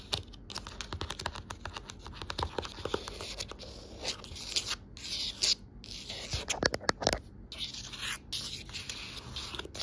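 Long nails scratch and tap along the spine and cover edge of a navy cloth-bound hardcover book with gold lettering. A steady, bright, dry scraping texture is broken by quick, sharp taps that die away at once, with brief pauses between bursts.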